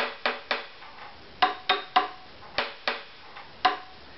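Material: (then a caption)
Wood. A varnished maple and spruce violin, hollow with no strings in view, lies face-down on a padded mat while its back is tapped with a small thin stick or pencil held in the fingertips. Eight short, dry wooden knocks land at uneven intervals, each with a brief hollow tone near 750 Hz that dies away almost at once.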